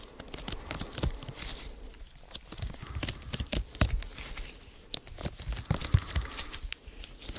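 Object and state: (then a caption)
Silicone mesh being scratched. A small purple silicone/rubber lattice mesh with a hollow open grid is held close to the mic while fingertips and nails scratch, squeeze and stretch it. The result is a dense run of sharp, crackly scratches and bright rubbery ticks over soft low thumps and handling noise.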